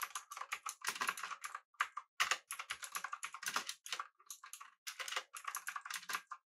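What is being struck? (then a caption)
Mechanical keyboard, aluminum body, plastic keycaps. Both hands type rapidly with their fingertips on a pink backlit mechanical keyboard with an aluminum body and round plastic keycaps. Dense, bright, clicky keystrokes come in quick bursts with brief pauses between them. Each click is short and crisp, with almost no low end.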